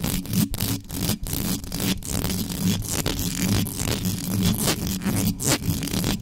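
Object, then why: Metal mesh microphone grille. Extra-long acrylic nails on both hands rake quickly over the hollow metal mesh grille of an uncovered black condenser microphone. The result is a fast, continuous, uneven scratching and scraping with a heavy low rumble beneath bright, hissy texture, broken by brief near-silent gaps between strokes.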